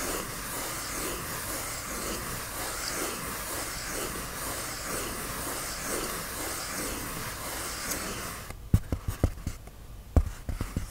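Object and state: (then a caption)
Polyethylene foam sheet scratched with nails. Fingernails scratch a white polyethylene foam sheet up close, making a steady, bright, rasping hiss for about eight seconds. It then gives way to six sharp, separate taps against a quieter background.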